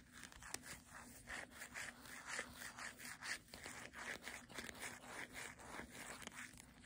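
The glossy back cover of a paperback book is rubbed and scratched with long nails and fingertips. The result is quiet, rhythmic scratchy rasps with a bright, hissy texture concentrated around 2 kHz, with occasional sharp ticks.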